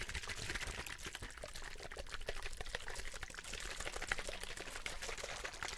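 A clear, hollow plastic drinking bottle holding some liquid is tapped with fingertips while it is turned and tilted in the hand. The result is a steady stream of quick, dry, crackly taps and clicks, bright with a ringing edge around 2 kHz, over a soft low rumble and faint sloshing of the liquid inside.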